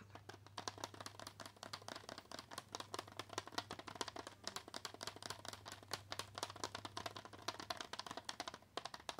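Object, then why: Cardboard-backed plastic blister pack. A flat L.A. Colors Nail Frill press-on nail pack, cardboard backing with a plastic blister over the nail tips, is tapped and scratched with long acrylic nails. Dense, quick, crisp clicks and light scratching run continuously with bright, short transients. A low steady hum sits underneath for most of the clip.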